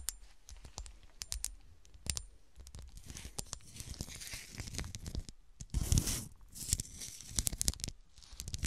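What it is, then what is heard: Textured glass shoe ornament. A small, solid, frosted cut-glass golf shoe ornament, first standing upright and then held, is scratched and tapped by fingernails across its textured glass. Quick, sharp taps with almost no ring mix with bright, rasping scratch bursts and a low, soft handling thump beneath.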